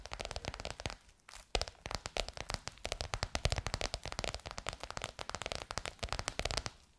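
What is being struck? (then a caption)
Faux leather cover over a hollow form. Long nails tap rapidly on a bronze-gold crocodile-embossed faux leather cover stretched over a curved hollow form. The result is a dense run of short, dry clicks and crackles with a low thump under each one. The taps pause briefly about a second in, then resume.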